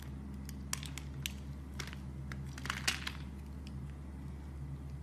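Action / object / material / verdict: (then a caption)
scrape / bar of soap / soap / none. A utility blade shaves slices off a solid brown soap bar. Scattered crisp, bright crackling scrapes and clicks stand out over a steady low hum. The shavings crunch and crinkle as they come away.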